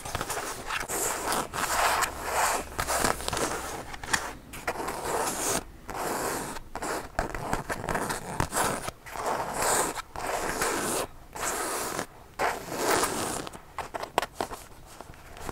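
Long blue acrylic nails scratch and tap the sleeve and body of a hollow black leather biker jacket with metal zippers and a paper tag, held up by hand. Bursts of dry, rasping scratches come in quick runs separated by brief pauses, with a mid-range body and a bright hiss on top. Light taps and some jacket handling, with zipper rattle, are mixed in.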